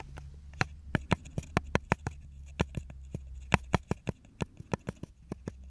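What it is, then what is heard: Small wooden block tapped with fingertips and nails. A small, solid, light wooden block, the engraved back of a brush, is held and turned in the hands while fingertips and nails tap and scratch it. About nineteen sharp, dry clicks with almost no ring stand out over a steady low hum, along with faint scratching between the taps.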